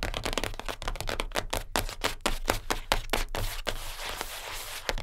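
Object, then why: Cardboard gift box. Long nails on both hands tap fast on the top of a closed, flat, light-blue cardboard perfume gift box lying on a fur rug, then scratch across it. A quick run of dry, sharp taps gives way after about three and a half seconds to a steadier, bright scratching rasp, over a constant low hum.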